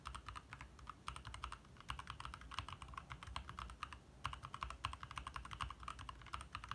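Both hands type fast with their fingertips on a compact 60% backlit mechanical keyboard with lit plastic keycaps. The result is a quick, uneven stream of short, clicky taps with a little ring, heard over a steady low rumble, with brief pauses between bursts of typing.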